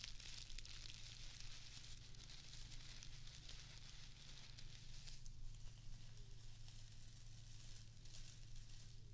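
A small square of plastic artificial grass is scratched with long acrylic nails, then held up with both hands. A steady, quiet, dense crackly scratching fills the clip, with bright rustling detail over a constant low hum.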